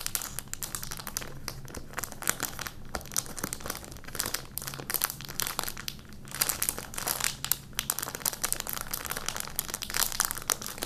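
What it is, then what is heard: Plastic candy wrapper being crumpled. An empty, small, thin orange-and-clear printed plastic candy wrapper is held in both hands while fingertips crumple and rub it. The result is a dense, continuous, bright crinkling and crackling, with sharp snaps scattered throughout and no ring after each one.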